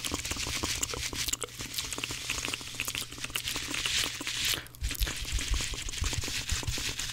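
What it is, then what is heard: Dry cellulose kitchen sponge. Fingers squeeze and rub blue, dry, porous cellulose kitchen sponges together right in front of the microphone. The result is a fast, dense, bright crackling and crinkling texture with a steady low hum underneath. There is a brief quieter gap just before the five-second mark.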